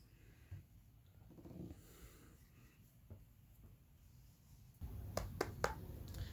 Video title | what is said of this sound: Fire-breathing dragon axe - with the Shapeoko | this sounds solid enough